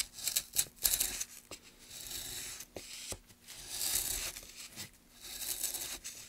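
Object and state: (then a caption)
Pine wood board being carved. A gloved hand pushes a gouge along a long channel in a solid, light pine softwood plank, carving and scraping the wood. The result is a series of dry, bright, hissy scraping strokes with short rasping bursts and brief pauses between them.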